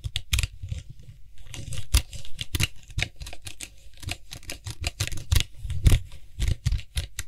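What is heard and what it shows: Fingertips and nails tap and scratch the white hollow plastic cap of a Lysol aerosol spray can, which is gripped and twisted. Fast, irregular taps give a low hollow thump with bright clicky edges, mixed with scratchy rustling between them. Each tap dies away almost at once.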